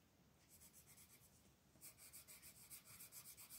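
A magenta colored pencil shades back and forth across a flat paper coloring book page in continuous scratching strokes. It starts as a soft, airy scratch, then turns louder and brighter about halfway through. A steady rhythm of rasping strokes runs to the end.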